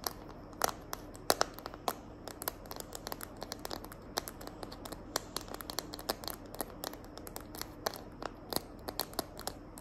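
Long nails tap and scratch the back of a small, hand-held smartphone in a green glitter plastic case. Quick, dry clicks fall in an irregular, rapid stream over a soft, steady scratching hiss. Each tap is sharp and bright and dies away almost at once.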